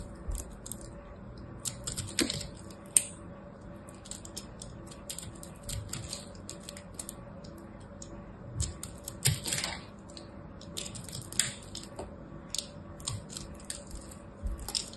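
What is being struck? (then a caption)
Pressed soap chip ball cut with a small blade. A hand-sized solid ball of pressed teal and orange soap chips, held in the fingers, is scraped and cut with a small black blade. Soft, crisp scratching and bright ticking crackles come in irregular bursts as chips fall away. A low steady hum sits underneath.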